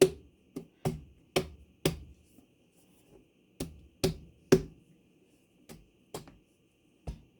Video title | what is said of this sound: Watermelon 🍉 Anyone???? | you want to see how hollow it is